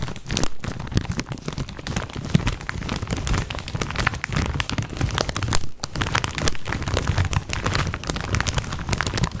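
A full plastic snack bag of corn rings is held close to the mic and crinkled and shaken by hand for about nine seconds. It makes a dense, continuous crackle and rustle with a heavy low-end rumble under sharp, crisp snaps, with brief lulls before the shaking resumes.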